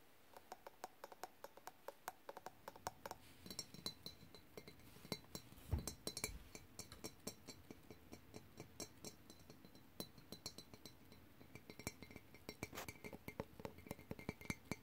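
Fingertips and short nails tap and scratch an empty, hollow glass clip-top jar, across both its glass lid and its body, which has a metal clasp. The result is a quiet, irregular stream of short, dry clicks and bright glassy ticks, each dying away almost instantly. Soft scratchy rustles and a few duller, deeper knocks sit underneath.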